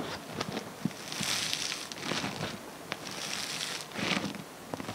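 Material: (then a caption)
Foam beads. Hands grab, squeeze and pull a soft mass of green and multicolored foam bead slime. The beads give off dense, bright crackling and crinkling in swelling waves, with scattered sharp little pops.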